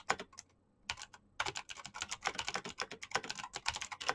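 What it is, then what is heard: Plastic mechanical keyboard being typed on. Fingertips with painted nails type at a moderate pace on a black plastic mechanical keyboard. A few bright, clicky keystrokes are followed by a short pause, then a steady run of crisp, quick-decaying key clacks.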